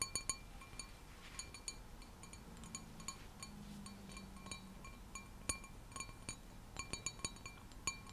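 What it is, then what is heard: Wine glass tapped with fingernails. An empty, clear, hollow stemmed wine glass with a white design is held in both hands and rapidly tapped with long nails. Quick, bright clinks with short, high ringing tones repeat irregularly over a quiet, low background murmur.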